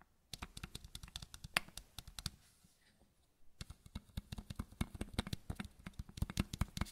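Fingernails and fingertips tap the square cap of a small matte white plastic bottle held in the other hand. Quick, dry clicks and taps come in rapid bursts, stop for about a second, then resume more densely, each one short with almost no ring.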